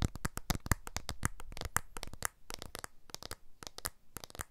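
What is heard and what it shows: The glass back of a blue iPhone 12 smartphone with an aluminium frame is tapped with the fingertips in a finger-by-finger sequence while the small, solid device is held upright close to the microphones. The result is a rapid, irregular run of short, dry, clicky taps with a soft low thump and no ringing, at a fairly quiet level.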